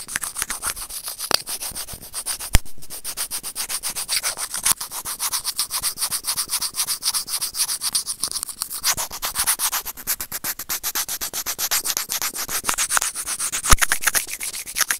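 Serrated plastic tweezers grip and scrape a small, hollow, white plastic earphone inline microphone remote. The result is a dense, rapid stream of dry, bright rubbing and scratching strokes, with a few sharper clicks standing out.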